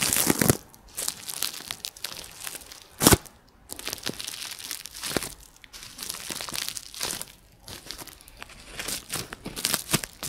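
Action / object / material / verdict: scrape / plastic bubble wrap / plastic / none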